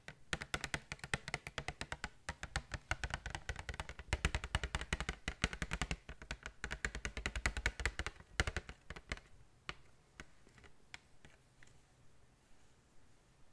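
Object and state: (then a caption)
Plastic blister pack tapped with nails. Long nails tap rapidly on the hollow plastic blister of a pack of five filled glitter tubes held upright. The result is a dense run of short, dry clicks with a low thump under a bright edge. After about nine seconds, it thins into slower, softer, scattered taps.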